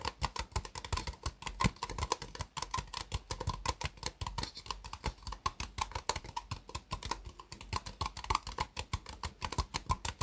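An empty, small, hollow white ribbed disposable plastic cup sits upside down on a mousepad and is tapped rapidly on its sides with long fingernails. The result is a steady, quick patter of dry, clicky taps with a hollow plastic ring, each one dying away almost instantly, continuing for about ten seconds.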